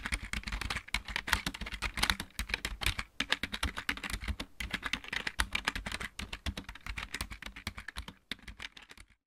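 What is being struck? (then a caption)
Plastic mechanical computer keyboard. Fingertips of both hands type rapidly on a backlit plastic computer keyboard with mechanical keys, producing a dense, steady stream of sharp, bright clicks with very short decay and a few brief pauses. A low, steady hum sits beneath the clatter.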